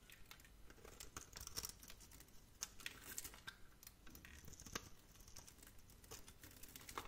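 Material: Soap.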